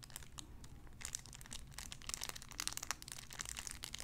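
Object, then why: Clear cellophane wrapper. A clear cellophane wrapper around a small sun-shaped figure is crinkled with fingertips. It makes a dense run of bright, sharp crackles and snaps that build in intensity over a low, steady background rumble.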